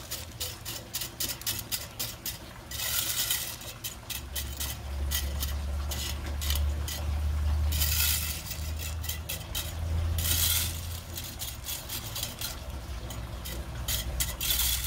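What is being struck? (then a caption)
Small rounded river pebbles raked with a metal rake. A red-handled metal fan rake scratches and stirs a narrow strip of small, rounded, loose river pebbles lying between brick pavers and grass. Quick clicking pebble scrapes alternate with longer bright, hissing rattles as the tines drag through the stones, over a steady low rumble.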